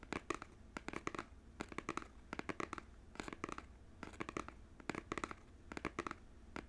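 Fingernails scratch and tap the printed front of a small cardboard Joy-Con game controller box held sideways in both hands. Quick clusters of dry, papery clicks and scrapes come in bursts with short pauses between them. Each sound stops at once with no ring, leaving only a faint low hum underneath.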